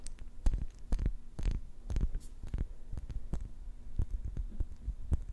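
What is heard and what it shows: Long nails tap the glass body and metal lid of a small, round, clear glass jar filled with pink plastic beads. The taps come as a rapid, uneven series of short, dull knocks that die away almost instantly. Each knock carries deep low thumps and bright clicky tops over a faint steady low hum.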